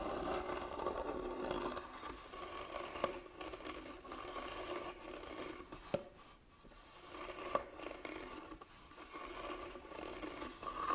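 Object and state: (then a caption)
Carved wooden box, scratched. Fingernails scratch across the carved top of a medium, hollow, closed hand-carved wooden box while hands rest on its sides. The result is a steady, dry, raspy scraping with a midrange tone, broken by a few sharp clicks and a brief quieter pause near the middle.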